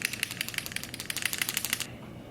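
A glossy liquid lipstick tube, meant to be transfer-proof, is shaken before use as the product directs. It gives a rapid, bright, typewriter-like clicking rattle, about 14 quick clicks over nearly two seconds, then stops.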